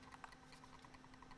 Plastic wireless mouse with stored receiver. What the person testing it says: There is some internal rattling with this one, but not as much.